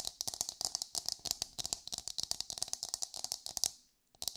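Long pale nails rapidly tap and scratch a hollow, hard brown half of an empty coconut shell held close. The result is a dense stream of sharp, dry, bright clicks with almost no low end. After a brief silence near the end, a few more taps follow.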